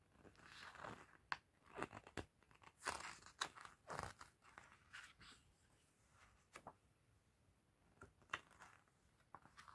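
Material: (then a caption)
Glossy paper. A large softcover art book with glossy paper pages and printed paintings lies open on a table while fingertips in a fluffy fingerless glove flip and rub the pages. The pages give soft, crisp rustles and sharp papery snaps, with brief bright crackles between quieter swishing strokes.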